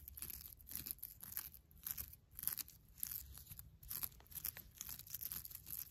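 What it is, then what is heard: Nylon mesh loofah. Long black nails scratch and squeeze a soft, airy beige nylon mesh bath loofah. The result is a steady run of quiet, bright crinkling and scratchy rasps that swell and fade in waves, over a low rumble.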